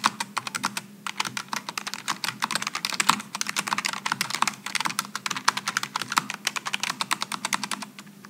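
Both hands type with their fingertips on a Logitech G915 low-profile mechanical keyboard with aluminum and plastic keycaps. It gives a fast, steady stream of short, bright clicks and clacks that die away almost instantly, over a faint low hum.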